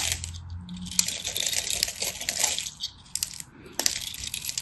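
A craft knife cuts and scrapes a solid, dry teal and white striped bar of soap into crumbly flakes. The result is a dense run of bright, crisp, crackling scrapes with quick dropouts and a few sharper snaps near the start and end.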